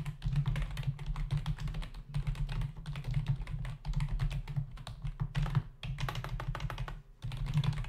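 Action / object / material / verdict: tap / plastic membrane computer keyboard / plastic / none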